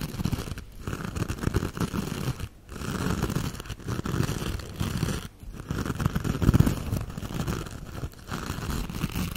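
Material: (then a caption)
Metal mesh. A hand-sized silver metallic mesh scrubber sponge is scratched with long acrylic nails, then held in both hands and rubbed with the fingers. The result is a steady, dense crinkling and scratching rustle, mostly low in tone, broken by a few brief near-silent pauses.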